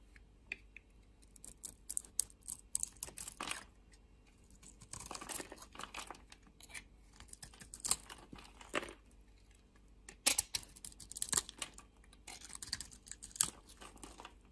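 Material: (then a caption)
Soap. A solid black oval bar of soap with a white interior, held in hand, is shaved and scraped with a metal utility blade. Quiet, dry, crisp scraping and flaking sounds come in short bursts separated by brief pauses. The sound is mostly high and bright, with very little low end and no ringing.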